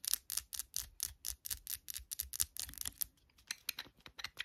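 Long nails rapidly tap and scratch a small, hand-held amber glass serum bottle with a pink label sleeve and a dropper cap, with liquid inside. About twenty quick, crisp, bright clicks and scrapes follow one another with almost no ring and very little low end.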